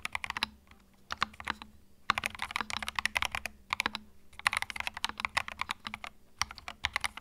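Fingertips type continuously on a compact white mechanical keyboard with plastic keycaps. Bursts of rapid, crisp, bright clacking keystrokes are separated by brief pauses. Each click stops short, with almost no low-end thump.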